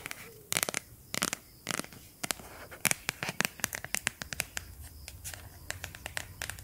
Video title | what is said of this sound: TAPPING ASMR 🩵 | Una cover in silicone, molto semplice.